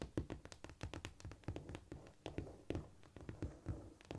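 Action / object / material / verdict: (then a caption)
tap / cork floor tapped with fingernails / cork / none. Long fingernails tap rapidly on a flat, solid cork floor, including single-finger nail taps. The result is a quick, uneven run of short, dull taps with a low, soft thud and very little ring.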